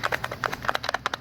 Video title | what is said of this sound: Scooter Tramp Scotty. Compensator Test & Repair Tech Tips. (An Older Vid) | hear the way it rattles